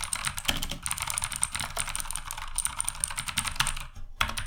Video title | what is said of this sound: Sades Rebellion - Keyboard Mechanical Low Budget | kliknya ini Jadi terdengar lebih nyaring karena memang bagian dalam dari casingnya ini kopong jadi emang suaranya terdengar kopong